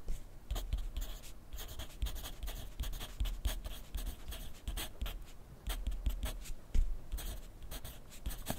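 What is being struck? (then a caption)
Graphite pencil on lined paper clipped to a clipboard. A wooden graphite pencil writes continuously on a sheet of lined paper clipped to a flat clipboard on a wooden desk. Its tip makes a steady run of quick, dry scratches, with bright papery strokes over a low thud from the board.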